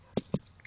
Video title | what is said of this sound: Horizontal Crack on Water Oak; also and example of failed callus growth | it's very Hollow it resonates like a drum when you knock on it